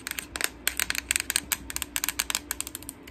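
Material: Plastic.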